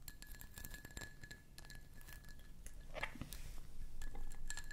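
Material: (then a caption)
Glass. Long fingernails tap and scratch the ridged sides of a medium-sized, faceted cut glass candle jar held close in both hands. Quick, light glassy clicks and scrapes come in a fast, uneven stream, with a faint ringing tone over a low background rumble.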